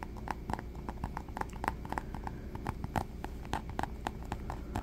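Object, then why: Small faux leather pouch. A small black textured faux leather pouch, soft and hollow, is held close and tapped and scratched with fingertips. A quick, uneven run of short, dull taps with low thumps and brief clicky edges sits over a faint steady hiss, each tap dying away almost at once.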